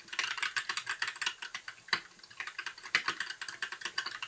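A compact white mechanical keyboard with plastic keycaps, blue backlight and a hollow case is typed on continuously with the fingertips of both hands. About 29 quick, bright plastic clicks follow one another in an uneven rhythm, with a few sharper, louder strikes. Each tap dies away almost instantly, with no low-end thump.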